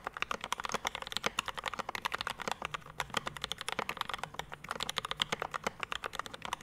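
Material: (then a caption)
Metal, plastic. Fast fingertip typing on a Rama M65-B 65% mechanical keyboard with a dark metal case, PVD brass plate, Mint Panda linear switches and ABS keycaps, resting on a desk mat. It produces a rapid, steady stream of short, bright clacks with almost no low end, ending with one hand pressing the left-side keys.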